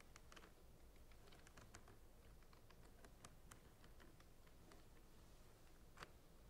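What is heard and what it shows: Fingernails tap along the sides of clear plastic centrifuge tubes standing in a rack. The result is a quiet, steady patter of quick, light, dry clicks that stop almost instantly, over a low, constant background hum.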